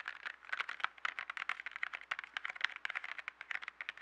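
A small yellow cardboard box of 12 colored pencils, full of pencils, is tapped quickly with fingertips and nails, then held up and scratched. The result is a rapid, uneven stream of dry, crisp clicks and light rattles, bright and midrange-centered with almost no low end. Each tap stops almost instantly.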